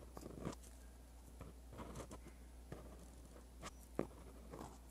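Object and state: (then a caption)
Pen writing on lined paper. A dark-bodied pen with a metal tip is scratched across a sheet of white lined paper lying flat while writing Korean script. Soft, dry scratching strokes come in short bursts, with a few sharper taps as the tip meets the paper, over a steady low hum.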